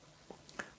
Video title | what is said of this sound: 샘튜브가 쏩니다 - 심오디오의 첫 스피커! 일단 집에 가져가서 생각하는 'MOON Voice22' | 두드려 보면 일단 소리도 어 대략 어떤 소리가 날지 내부 댐핑이 이런 것들에 대한 짐작이 좀 되는데